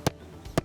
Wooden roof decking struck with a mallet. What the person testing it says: listen right here you can hear that it's hollow